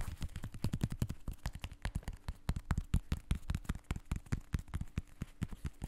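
Fingertips and ringed fingers tap and scratch the side of a blue and white sneaker with a synthetic mesh upper and foam sole, held close to the mic. A dense, uneven run of quick, dull taps follows, mostly low thuds with faint scratchy texture and almost no ring after each hit.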